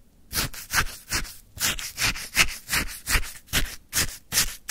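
A wooden stick stirs and scrapes through icy frozen lemon sherbet packed in a white paper cup. About fourteen short, crunchy, bright scraping strokes come in a loose, fairly steady rhythm, each a gritty burst of icy crackle that stops quickly.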